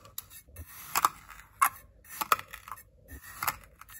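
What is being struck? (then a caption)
Kinetic sand in a glass bowl cut with a ceramic knife. A white ceramic knife cuts and scrapes slices into packed blue kinetic sand filling a small clear glass bowl held by fingers. Several sharp, crisp crunches and short bright clicks stand out over a soft, hissy scraping texture. The strokes come at an uneven pace and die away almost instantly.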